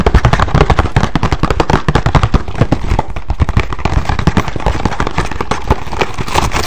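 A hollow green and black printed cardboard box labelled "mask" is held in hand and tapped and scratched quickly with fingertips and nails. It gives a rapid, steady stream of dull, low-heavy thumps and short crackling pops that sound almost like firecrackers, with little brightness and very short decays.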